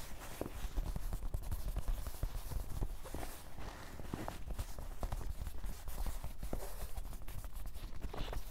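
Fingertips of both hands tap across the top of a soft, hollow, dark grey canvas cloth fanny pack resting on a table. The result is a dense, continuous run of quick, muffled, low thuds with dull fabric patting and almost no ring after each tap.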